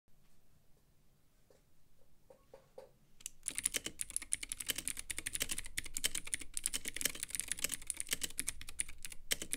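A Womier K66 compact 65% mechanical keyboard with white plastic keycaps, Gateron Blue clicky switches and a clear RGB-lit acrylic case sits on a desk and is typed on with the fingertips of both hands. After a few seconds of faint, soft taps, fast continuous typing begins, with bright, sharp clicks over dull thumps from the keys bottoming out.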